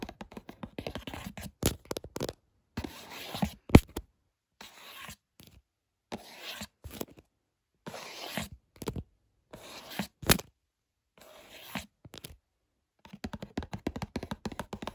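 Fingertips of one hand tap quickly on the top of a small printed cardboard box of Lungo coffee capsules with a clear window, lying flat on a bed sheet. Short, dry, low-pitched taps come in rapid bursts with brief pauses between them, with a few louder, sharper hits along the way.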